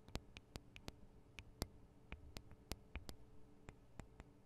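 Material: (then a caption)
Metal, plastic. Long acrylic nails from both hands tap the metal and plastic microphone capsules of a Tascam DR-40 recorder. About fifteen sharp, quiet clicks come at an irregular pace, each bright and dying away almost instantly, over a faint low hum.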